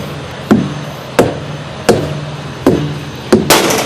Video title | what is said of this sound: FIOF: Pre Trip | these sound about the same and they're bouncing all right